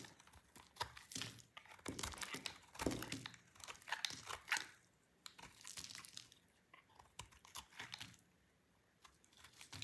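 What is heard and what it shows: A utility knife blade shaves and cuts a hand-held, dry, hard orange bar of soap, throwing off crunchy flakes. Irregular bursts of bright, crisp crunching and scraping come in quick clusters, separated by short quiet pauses. Each sound ends dry and abrupt.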